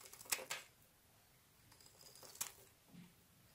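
A utility knife's metal blade shaves and carves the edges of a palm-sized solid white bar of soap held in one hand, with curls of soap falling onto a grey surface. Quiet, bright scraping strokes come as short crisp bursts separated by near-silence, with faint soft rustles between them.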